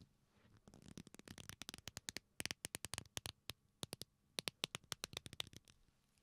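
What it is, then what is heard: Leather belt creaking. A black leather belt with a flat, solid strap is folded into a loop and squeezed and rubbed with the fingers, making it creak. The clip is a rapid string of short, bright, dry creaks and crackles that stop sharply. They start out faint and rough and become louder, crisper bursts, with quiet gaps between them.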